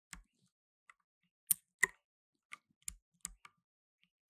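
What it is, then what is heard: Plastic mechanical keyboard. Blue nitrile-gloved fingertips slowly press keys on a black tenkeyless mechanical keyboard with plastic keycaps. Each press makes a short, dry, bright click with a faint low thud, spaced apart by quiet gaps, with a few softer taps in between.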